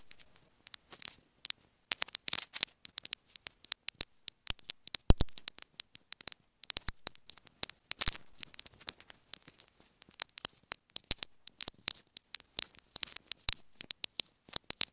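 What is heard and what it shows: Long nails tap and scratch a small, hollow white plastic earphone inline remote microphone held in the fingers. Rapid, irregular, crisp clicks sound very close and bright, mixed with short scratchy rustling stretches between the taps. Each tap dies away almost instantly.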